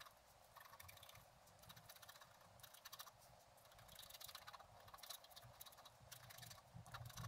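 A wooden stylus scratches the coating of a flat, black-coated scratch art card resting on a table. Quiet, dry scraping strokes come in irregular bursts with bright, hissy texture over a faint low hum.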